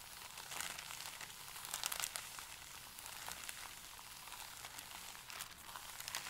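Both hands rub and press a stack of thin, pale paper sheets flat with fingertips and palms, crinkling them. A quiet, steady, bright rustle runs throughout, dotted with many quick, sharp crackles and almost no low end.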